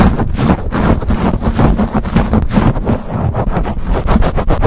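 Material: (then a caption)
Foam. A black foam windscreen covering a silver USB condenser microphone, soft porous foam over a hollow metal grille, is scratched and rubbed fast with the fingertips and short nails of both hands. The result is a dense, continuous, boomy scratching and rumbling, heavy in the low end with a hum around 220 Hz and little high content, staying loud throughout with rapid flutter.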